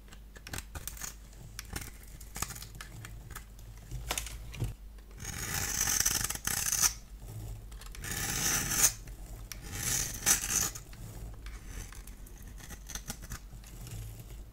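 A solid pink bar of soap held in the hand is scored and cut into brittle chunks with a multi-blade cutter. Light scratchy ticks alternate with longer, bright rasping scrapes as the blades drag through the soap, with the loudest passes building around the middle of the clip.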